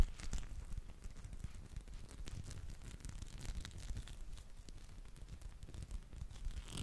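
A small dark teal spiky massage ball, made of rubber or soft plastic and likely hollow, is held in one hand near the microphone and rubbed and scratched with the fingertips and palm. This produces a steady, dense, low rumbling rustle with faint crinkly, tearing-like scratches and occasional thin bright streaks.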